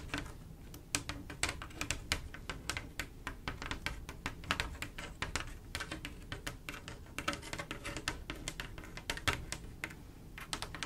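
Long acrylic nails on both hands tap rapidly across a flat panel of silver mirror-glass mosaic tiles set in grout. The result is a steady, fast patter of sharp, bright clicks with almost no ring, over a faint low hum.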